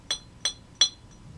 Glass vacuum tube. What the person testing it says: 真空感を叩いた後にですね雑味のある響きがほとんどしないま構造的にかなりしっかり作られてるんだなっていうことが分かりますね